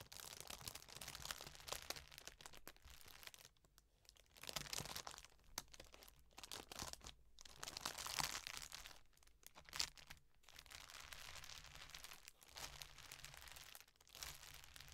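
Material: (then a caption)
Plastic. A large, empty clear plastic bag lying flat on a velvet cloth is pressed and scrunched with fingertips and long dark nails, with a piñata lying untouched beside it. Bright, dense crinkling and crackling come in bursts with short quiet gaps, mostly high in tone, over a faint low hum.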